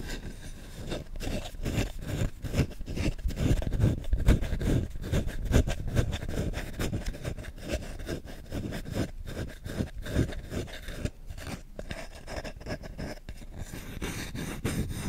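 Short nails scratch and rub the bowl of a solid wooden spoon held up, making a fast, rough series of dry scraping strokes at roughly two per second. The scratching is mostly low and muffled, with brief strokes that stop abruptly and carry little ring.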